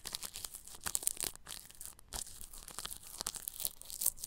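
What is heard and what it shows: A bristle paintbrush brushes over clear plastic cling film stretched across the grille of a round microphone. The result is a close, bright, crinkly scratching and rustling that comes in quick, uneven strokes with little low end.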